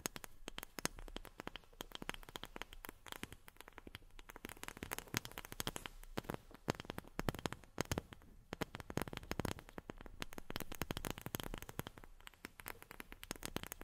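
Long fingernails rapidly tap on a wooden object in ASMR-style tapping. Dense streams of quiet, dry, clicky taps stop almost instantly with no ring, giving a crackling texture across the whole clip.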